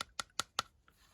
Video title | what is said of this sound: What a WW2 US soldier carried in his pockets - Pocket litter, Bag contents & personal items | You can hear it sounds plasticky.